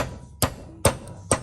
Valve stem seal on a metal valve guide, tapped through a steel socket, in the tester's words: sounds kind of hollow, and you can hear it change. It sort of sounds like metal to metal